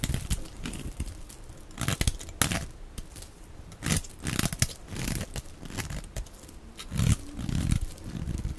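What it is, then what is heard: Bar of soap being shaved with a blade. A dark blade scrapes and shaves thin strips off a solid, dry, hand-sized green rectangular soap bar held in one hand. Repeated dry, crackly scraping and tearing bursts are heard, with sharp bright crackles over a soft low rumble. The louder, fuller strokes come near the middle and end of the clip.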